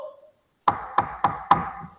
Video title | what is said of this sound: VIDEO PEERTEACING PPG ANGKATAN 2 TAHUN 2021 | meja Bapak ini, kalau Bapak ketuk, ada bunyinya